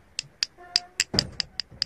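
A quartz stone hanging on a string is struck eight times to compare its sound with jade. Each strike gives a short, bright click that dies away almost at once, with no lasting ring. The dull stone sound marks it as quartz, not jade.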